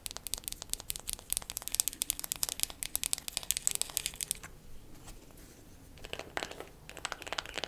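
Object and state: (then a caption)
Wooden makeup compact tapped with nails. A wooden makeup compact is tapped quickly with fingernails for ASMR, making a rapid stream of short, bright, dry clicks with almost no ring. The tapping pauses into a quiet, faint scratchy stretch around the middle, then resumes in quick bursts until the end.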